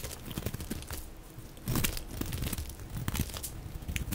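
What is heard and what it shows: A dry, cream-colored solid soap bar with a label is held in the hand and shaved with a utility blade into thick, crumbly curls. Dense, rapid scraping and crunchy cutting sounds come in uneven bursts, low and gritty with brief bright crackles. The loudest stretch lands in the middle of the clip.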